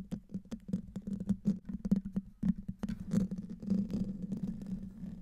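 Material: Metal mesh.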